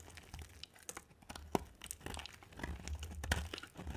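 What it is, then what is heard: Dry soap bar being cut and scraped. A utility knife blade cuts and scrapes a solid, dry, white oval soap bar with a green rim. A quick series of crisp, crunchy scrapes and brittle crackles sits over a low, steady rumble, with each cut ending sharply.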